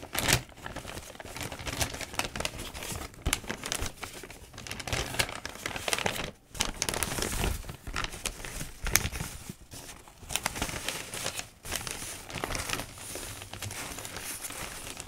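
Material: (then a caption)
Paper. Palms and fingertips rub and smooth the pages of a newsprint newspaper on a desk, and loose sheets are crinkled. Dense, bright papery rustling and crinkling runs almost continuously, with brief quiet gaps near 6.5 and 11.5 seconds.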